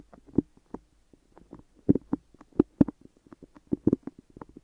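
Fingertips and long nails tap and stick on the top and sides of both microphone ears, which are wrapped in white adhesive tape. The sound is a scattered run of soft, muffled, low-mid taps with tacky peeling clicks, each dying away almost at once, with brief quiet gaps between them.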